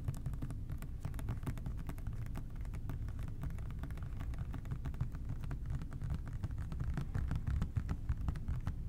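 Fingertips of both hands tap rapidly and continuously on an OxiClean plastic trigger spray bottle for the whole clip. The dense, soft patter of short hollow taps stays mostly in a low, thudding register, with each tap dying away almost at once and the tapping growing slightly louder toward the end.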